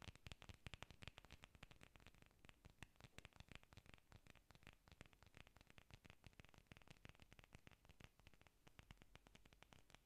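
Long nails scratch and tap a solid cluster of green artificial orchid leaves made of foam or plastic. A quiet, steady stream of rapid dry clicks and crackly scratches runs throughout, each tick short and bright over a soft low-end rumble.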